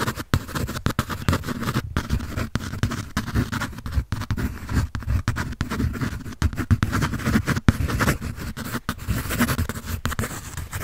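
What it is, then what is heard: Pencil scratching on a paper sketch pad. Quick pencil strokes scratch across a white paper drawing pad held upright, making a dense run of short, dry scratching bursts with almost no pauses. The sound sits mostly low and muffled, with only a faint bright edge on the strokes.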